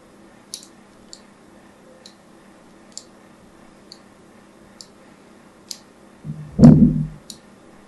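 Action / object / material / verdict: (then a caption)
scrape / scored bar of soap / soap / none. A thin needle tool scratches across a solid pink bar of soap covered in score lines, making a series of short, sharp, bright clicks spaced out over several seconds. Near the end, a louder, lower crunchy squish swells and fades, followed by one last click.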